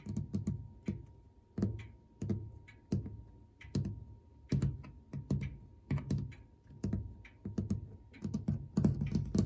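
A fingertip with a short nail taps and scratches fast and repetitively on a brushed metal clock dial and its gilt-framed white enamel numeral plaques. The result is quiet, irregular bursts of dull, low thudding taps with short bright clicky scratches on top. A faint steady tone runs underneath throughout.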